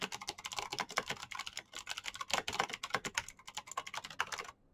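Fingertips type rapidly on a black plastic mechanical keyboard with clicky switches, making a fast, uneven stream of sharp, bright clacks with little low end. The keystrokes run nearly continuously and stop abruptly just before the end, leaving brief silence.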